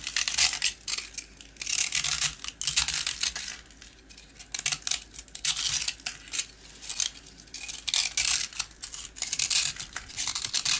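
A box cutter blade scrapes and shaves a small, round, crunchy rusk, a solid dry biscuit with most of its coating removed, so crumbs fall away. Bursts of bright, dry, gritty scraping and crackling come in uneven strokes with short pauses. The sound has almost no low end and little ring.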